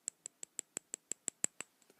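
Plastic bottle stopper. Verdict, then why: Sturdy. A sturdy plastic stopper on a Chanel Huile de Jasmin oil bottle is tapped in a quick, even series of about ten sharp, bright clicks. The clicks ring high and sound almost like metal or glass, followed by a few fainter taps at the end.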